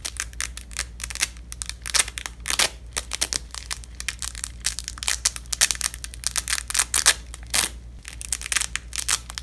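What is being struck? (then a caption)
Nylon hook-and-loop (velcro) strap. A single purple nylon hook-and-loop (velcro) strip, held in both black-gloved hands, has its fastened ends torn apart and pressed back together over and over. The result is a quick series of bright, rasping crackle bursts, some short ripping and some longer tearing, over a steady low hum.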